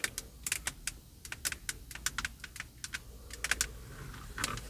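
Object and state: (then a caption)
Plastic steering wheel airbag cover, tapped with fingernails. Long blue and purple acrylic nails tap and scratch on the hollow, textured leather-grain plastic airbag cover in the centre of a Cadillac steering wheel. About twenty short, bright, dry clicks come in quick irregular bursts, with a faint scratchy rustle between them and a low steady background hum.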